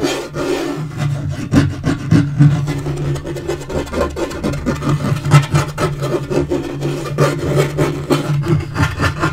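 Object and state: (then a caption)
Laminate table top scratched and tapped. Fingernails scratch and fingertips tap the flat surface of a dark wood-grain laminate portable table top. The result is a steady, low, hollow rasping rub broken by soft, dull taps, with very little high-end brightness.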